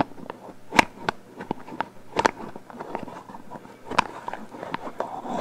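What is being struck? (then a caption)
Metal aerosol spray can. Fingertips and long nails tap and scratch along the hollow metal body of a black "Hold" aerosol hairspray can with a plastic cap, held horizontally. Sharp, dry clicks with a faint metallic ping around 900 Hz stand out over a soft, continuous scratching rasp. The taps stop almost instantly, with no ring.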